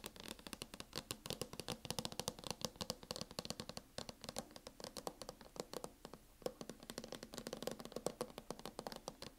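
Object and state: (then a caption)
Laptop cover tapped with fingernails. Fingernails tap rapidly and continuously on a MacBook cover, making dense runs of dozens of short, crisp clicks. Each tap dies away almost instantly, with a faint tone near 490 Hz under bright, high clicking edges and a little scratching between strikes.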